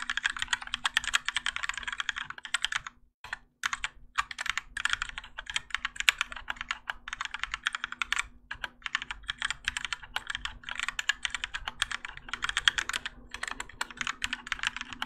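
Both hands type continuously with their fingertips on a Keychron K4 compact mechanical keyboard with Gateron Yellow switches, grey and orange ABS plastic keycaps, and a plastic and metal case, resting on a desk mat. A fast, steady stream of short, bright plastic clacks runs throughout, with brief pauses around the three-to-four-second mark. A faint steady low hum sits underneath.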